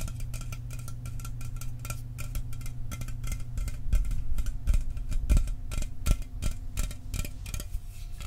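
Fingernails tap quickly and irregularly on the body of a standard aluminum Mountain Dew soda can. The taps are short, bright metallic ticks that fade almost instantly, over a steady low hum.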